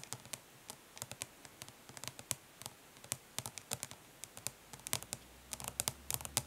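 Long pink nails tap quickly on the printed lid of a closed, flat, hollow plastic eyeshadow palette. Around 37 short, bright, dry clicks come in quick irregular bursts, each dying away almost at once over a quiet background.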